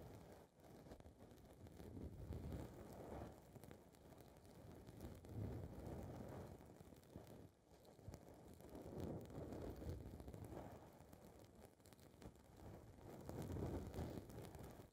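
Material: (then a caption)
Foam. Long red nails scratch and rub a small blue foam windscreen ball on a recorder's microphone capsule. The result is a dense, muffled, low rumbling scrape and rustle that swells and fades in slow waves, with very little bright content.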